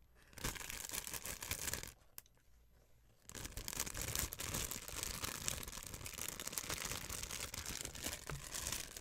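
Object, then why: Thin clear plastic film. A thin, clear plastic sheet held in both hands is crinkled and squeezed with fingertips and long white nails. It makes dense, bright, crackling crinkles that break off into a short near-silence with a single tick at about two seconds, then resume just as busy and loud until the end.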